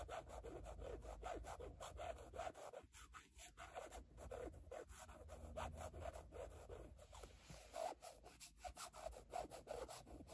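Long nails scratch back and forth across a rigid black carbon-fiber patterned panel with a logo, making a steady run of rough, rasping strokes. The scraping sits mostly in the low-mid range with a tonal edge around 720 Hz and little high-end sparkle.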